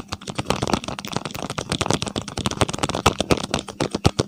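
Fingertips and fingernails tap and scratch along a small, hollow, printed paperboard medicine box held close to a microphone. Rapid, dry clicks and rustling scrapes come in a dense, uneven stream, each tap ending almost instantly with no ring. Soft low thumps sit under bright, crisp clicks.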